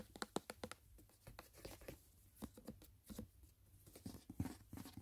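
Fingernails tap and scratch along the side wall and edge of a closed, rigid white paperboard gift box. Quiet, dry, short clicks come in an irregular series, mixed with soft scratchy rustling. The taps have a hollow, papery character and die away almost instantly.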